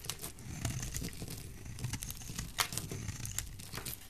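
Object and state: Soap bar being shaved.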